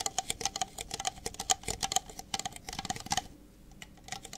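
Fingertips and nails tap rapidly on the outer walls of two identical empty red plastic party cups with white interiors, held in the hands, with their openings later turned to face forward. The taps are quick, dry and bright, each carrying a short hollow plastic ring near 740 Hz. Around the three-second mark the tapping drops to a quieter, sparser patter.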